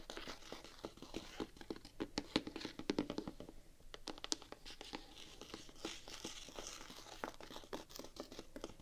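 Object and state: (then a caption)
Knit fabric sneaker upper. Long painted nails scratch the side of the grey knit fabric upper of a single hollow Vans sneaker held in hand. The result is a dense run of short, dry, crinkly scrapes with a bright rasping texture, each stroke dying away almost at once.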